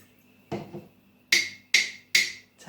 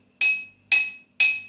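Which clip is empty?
The second.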